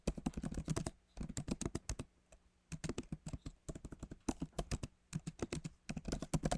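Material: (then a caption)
Plastic. Fingertips of both hands type on a backlit MacBook Pro keyboard with plastic keys set in an aluminum body, producing about forty soft, short taps in quick runs separated by brief pauses. The clicks are dull and low-weighted with very little bright edge, and each dies away almost instantly. The keyboard sounds solid.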